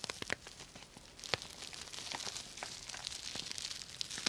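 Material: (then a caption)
Plastic sequins. Fingertips and long nails brush and scratch the plastic sequins on a soft, hollow purple sequin fabric cosmetic bag. The result is a quiet, bright, crinkly scratching, with sharp little clicks and ticks scattered over a steady rustle.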